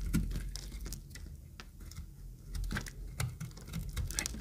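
A utility knife blade scrapes an oval, pink-green speckled, solid dry bar of soap. The scraping comes as a quiet, dry run of quick crisp ticks and patters over a low rumble, with brief bright flicks and no ring after each stroke.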